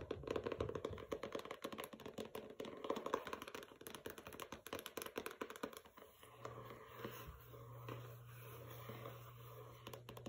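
A dense run of fast, light fingernail taps and scratches, each a short dry click around the midrange that dies at once. The papered board of a hardcover book gives this flat, papery tick. A low steady hum comes in midway.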